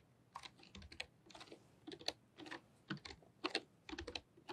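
A full-size pink-and-white plastic membrane computer keyboard with low flat keys, resting on a fluffy rug, is typed on with long painted nails and fingertips. The typing comes in quick bursts of light, bright clicks and soft taps, with short pauses between the bursts. The strokes are crisp and die away almost at once, with very little low-end thump.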